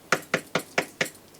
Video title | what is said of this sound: Dr. Emoto's Law of Vibration, Resonance and Attraction by Michiko Hayashi | When we tap it, we can hear the sound, the vibration of this table,